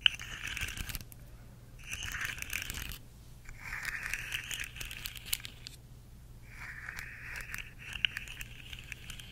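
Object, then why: Segmented plastic fidget toy. A rainbow segmented plastic slug fidget toy, curved and held up in both hands, is tapped and scratched along its segments by long nails. Four bursts of dense, bright clicking and scraping come and go across the clip, separated by quieter gaps, with a faint low hum underneath.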